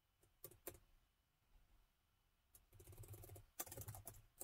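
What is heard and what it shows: Fingertips type on the plastic keys of a gold metal laptop keyboard, producing quiet, dry, bright clicks that die out almost instantly. A few separate taps early on give way to a lull, then to denser, irregular bursts of repeated key taps over a low background rumble.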